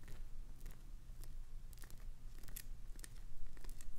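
Long nails scratch the edges and face of a solid green glycerin soap bar with a clownfish design, scraping off shavings. Short, dry, bright scratches and crackles come at an uneven pace over a steady low hum, ending quickly with no ring.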